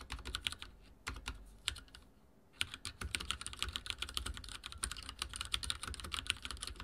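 Fingertips type on a backlit mechanical keyboard with dark plastic keycaps and a silver frame, producing rapid, bright, dry clicks with almost no ring and a faint low thump under each keystroke. The typing starts quickly, slows to a brief near-silent pause around two seconds, then resumes as a steady, dense run of keystrokes to the end.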